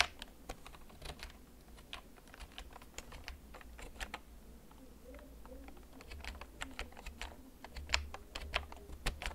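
Fingertips tap the keys of a hollow, backlit plastic gaming computer keyboard that is held and tilted. The result is a slow, irregular stream of short, sharp, bright clicks over a steady low hum.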